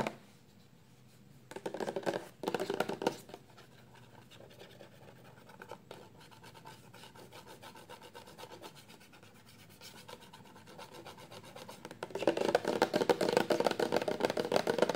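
Long nails rub and scratch the label and plastic of a 400 mL clear plastic shampoo bottle that is full of liquid and lying flat. Short louder bursts of scratching come at about 2 and 3 seconds, then a faint, steady dry scratching follows. From about 12 seconds the scratching turns louder and rapid, with a mostly midrange rasp.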